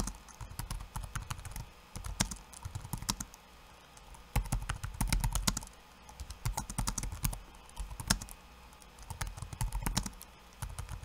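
One hand's fingertips type on a backlit laptop keyboard with plastic keycaps. Rapid bursts of short, dry key clicks with soft, low thuds alternate with brief quieter pauses, and a bright clatter sits on top. Each tap dies away almost instantly.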